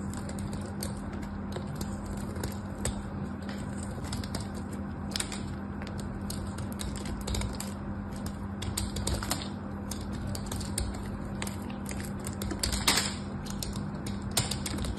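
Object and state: Bar of soap being shaved.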